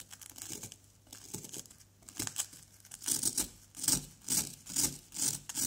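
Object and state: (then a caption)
Plaster dig block being scraped. A wooden pick scrapes and chips at a solid orange-yellow plaster dig block resting on cardboard, working around an embedded white item while the other hand holds the block. Dry, bright, gritty scraping strokes start faint and irregular, then grow louder and more rhythmic in the second half, each stroke ending quickly with no ring.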